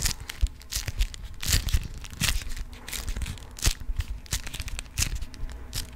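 A yellow honeycomb-print beeswax cotton food wrap is crumpled and crinkled in the hands and scratched with nails. Dense, crackly crinkling is broken by sharp, bright rustling bursts and soft low thumps. The texture stays steady and close throughout.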